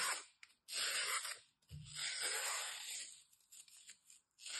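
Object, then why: Slab of floral foam. A metal utility knife scores and scrapes through a thin, solid, dry slab of green floral foam held in both hands. Bright, hissing rasps come in long bursts separated by brief silences, then trail off into smaller scratchy strokes.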